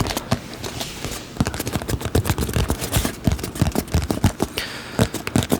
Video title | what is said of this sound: Items That Make Good Sounds - ASMR Tapping Tingles | This box just sounds really good.